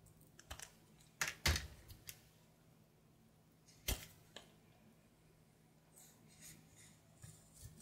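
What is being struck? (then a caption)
Bar of soap. A red-patterned knife scrapes and cuts a brown solid soap bar with a painted butterfly, held in the palm. About ten crisp, bright cuts and scrapes come at irregular intervals, each dying away quickly against a quiet low hum.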